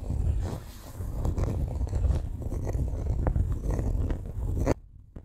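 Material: Coated canvas.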